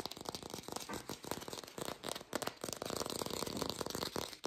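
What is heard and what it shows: An artificial plastic green apple is fast-tapped, recorded lo-fi without a microphone. A dense run of quick, dry, clicky taps with almost no ring blends into a continuous rattling patter with a bright, hissy edge.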